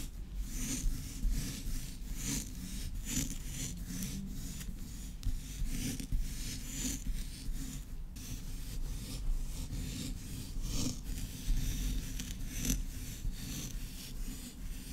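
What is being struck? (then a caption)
Kinetic sand on a wooden board. Long red acrylic nails scratch and rake through a mound of pink kinetic sand on a round wooden board, with fingertips pressing into the soft, granular mass. A quiet, steady rubbing with a dull low undertone continues throughout, broken by repeated brief, bright, gritty scratches.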